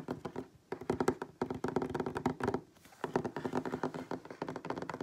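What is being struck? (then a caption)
Wooden tabletop. Fingertips and nails of both hands tap rapidly on a solid wooden tabletop, close up. Bursts of quick, dull knocks and clicks come in clusters, with short pauses between them. Each tap dies away almost at once.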